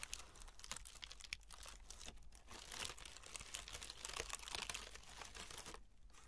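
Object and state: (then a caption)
Honeycomb kraft paper wrap. Long red nails scratch across the top of a brown honeycomb kraft paper packing wrap roll resting on burlap cloth, then reach behind it to scratch. A quiet, dense stream of bright crinkling and crackling scratches is heard, with a faint low rumble underneath, easing off near the end.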